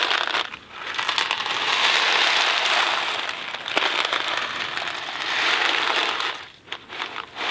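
A small Kraft mac and cheese cardboard box, hollow and filled with dry pasta, is held in both hands, tapped with fingertips and rubbed. It gives a dense, bright rattling crinkle of dry pasta shifting inside, rising and falling in long swells with sharp ticks in between, and no low rumble.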